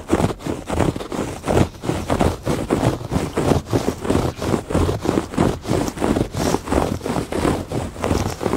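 Fingertips and nails scratch back and forth across the weave of a woven textile rug. The result is a steady series of dry, rustling strokes, about one and a half per second, each swelling and fading. The sound is muffled and low-weighted, with little brightness and no ring after each stroke.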